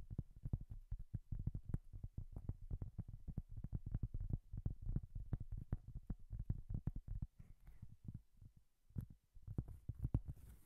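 A solid, round, flat cork coaster is held in both hands and tapped fast and scratched with long nails. The result is a dense run of soft, dull, low thuds with almost no ring, easing into quieter scratching around the middle before the tapping resumes.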